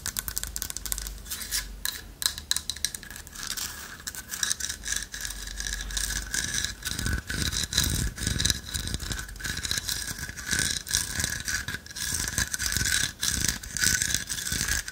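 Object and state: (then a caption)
Carved wooden owl with loose inner piece. A carved owl figurine of light wood, with a hollow lattice body and a loose inner piece, is handled and tapped with long nails. Many quick, dry clicks and light scrapes mix with the bright rattle of the inner piece shifting inside, with no ring after each tap.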